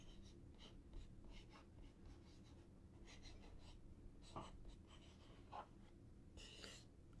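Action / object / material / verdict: scrape / cardboard box / cardboard / none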